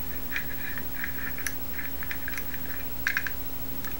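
A small teal-anodized metal Masterlock combination padlock with a steel shackle, solid and held in both hands, is tapped, scratched and dial-turned with fingertips and nails. Soft, quick clicks and light scratches with a mid-pitched ring near 1.6 kHz repeat irregularly over a steady low hum, with a brighter cluster of taps near the end.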